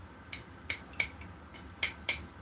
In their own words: and you're tapping your lids, you're going to hear that sound like a ping.